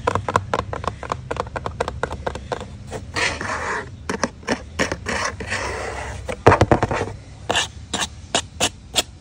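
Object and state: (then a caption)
Cardboard pizza box. Fingertips and nails scratch and tap the lid top and side edge of a large, flat, hollow corrugated cardboard Shakey's pizza box resting on concrete, with a metal ring worn on one finger. The sound is a quick run of dry, papery taps broken by longer rasping scratches across the cardboard, each hit dying out almost at once.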